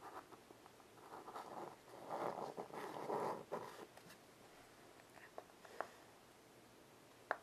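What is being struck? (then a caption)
Chalk on a small wood-framed chalkboard. White chalk held in the fingertips draws and scratches lines across a small wood-framed blackboard resting on carpet. Soft, gritty strokes in the mid-range swell to their loudest around the middle of the clip, then thin out. A few sharp little taps follow before it ends on a crisp click.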